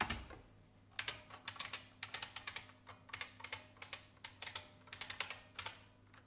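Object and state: Plastic mechanical keyboard.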